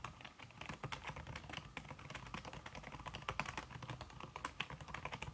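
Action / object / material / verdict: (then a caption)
tap / aluminum keyboard with silicone key cover / aluminum, silicone / none. Fast fingertip typing, with red-painted nails, on a slim backlit aluminum keyboard whose keys are covered by a red silicone skin. The result is a steady, dense stream of short, soft, slightly muffled key taps with a low thump under a brighter click. There are no voices.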